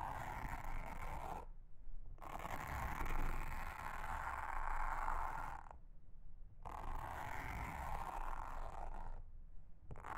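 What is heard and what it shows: A pink mascara spoolie wand brushes across a large, round, flat, solid blue silicone honeycomb trivet mat. Dense, scratchy bristle scraping with a midrange rasp and a low rumble comes in long passes, broken by brief pauses where the brighter scratching drops away.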